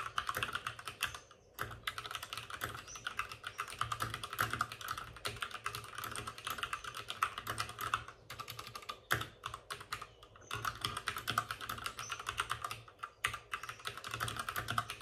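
Both hands type rapidly with their fingertips on the plastic keycaps of a white plastic backlit RGB mechanical computer keyboard resting on a desk with a padded wrist rest. Dense, crisp clacks with a bright upper edge run almost continuously, broken by a few brief pauses.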